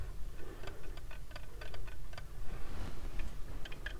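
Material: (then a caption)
Plastic. Fingertips and nails tap the frame of small white plastic heart-shaped sunglasses with dark lenses, worn on the face. A quick, uneven series of light, dry clicks and ticks rises over a steady low rumble, each tap dying away almost instantly.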